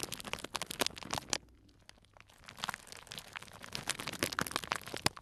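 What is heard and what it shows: A small tied clear cellophane bag full of dried tea pieces is squeezed and crinkled with fingers. Bright, crackly crinkling bursts come in quick clusters, fall nearly silent for about a second, then build back up into more crunching crackles.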